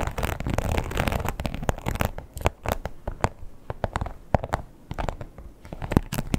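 Long pointed nails tap and scratch the embossed surface of a red croc-textured leather wallet with a strap. A dense first stretch of rough, low scratching gives way to sparser, sharp clicking taps, each dying out almost at once.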